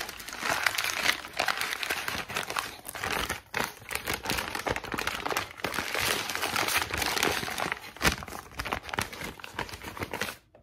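A thin white lined notebook page with a ragged spiral-torn edge is squeezed and crinkled in the hands, with fingertips and long pink nails working the paper. It makes a dense, continuous, bright crackling crinkle with little low end, rising and falling in bursts and briefly dipping near 3.5 s and 5.5 s. The sound stops abruptly just before the end.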